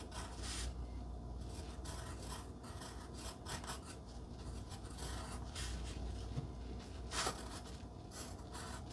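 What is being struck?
Wooden pencil on paper cardstock.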